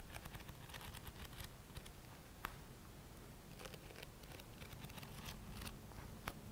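Fingertips and nails scratch along the page edges of a thick paperback book. Quiet, dry scratching and crackling ticks with a few sharper bright clicks sit over a low, steady rumble.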